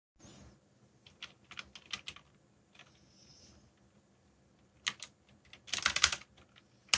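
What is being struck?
Plastic mechanical keyboard.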